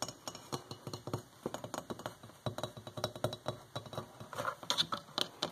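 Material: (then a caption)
Porcelain. Long fingernails tap rapidly and lightly on a hollow white porcelain electric kettle with a flower print, producing a quick series of bright, clicky taps. Each tap is short and dry with little ring.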